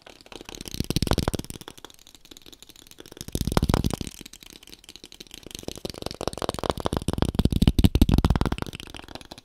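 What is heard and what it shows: A small, thin, printed brown cardboard box, hollow and held upright, is tapped and scratched with fingertips and nails. Rapid, irregular drumming taps come in three swelling bursts, giving a dull, low, hollow thudding with a faint scratchy rustle on top.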